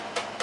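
Two short taps on the top of a plastic RV kitchen fixture during a counter and sink install. Each tap is a light, hollow knock centered around 480 Hz, separated by about a quarter second.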